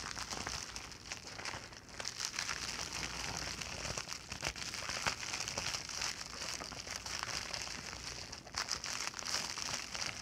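Fingertips and long nails scratch a flat, empty white plastic poly mailer bag lying on a blanket, then the bag is lifted and crinkled in the hands. The result is a steady, bright crinkling and crackling texture with many quick, sharp clicks and little low end.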